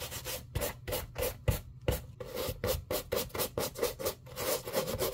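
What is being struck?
Leather shoe scrubbed with a plastic bristle brush.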